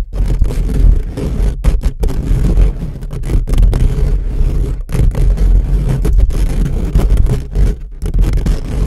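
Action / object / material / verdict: scrape / steel mesh microphone grille / steel mesh / none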